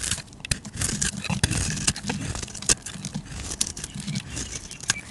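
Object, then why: Bar of soap. A flat metal blade scrapes and shaves the surface of a solid, palm-sized purple bar of soap with a red layer, held in one hand with long nails, throwing off curls and flakes. Quick, dry, crackling scrapes and sharp ticks repeat throughout, bright and airy on top over a soft low rumble, each cut stopping dead with no ring.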